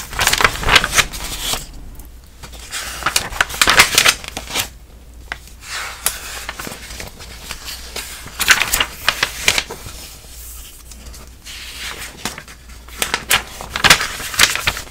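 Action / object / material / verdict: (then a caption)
scrape / glossy coated paper magazine pages / coated paper / none. Fingertips turn and flip the thin coated pages of an open glossy paper magazine held up close, making bright, crisp paper crinkles and rustles. Quick sharp flicks come in uneven bursts with brief quieter pauses between page turns, and the sound has little low end.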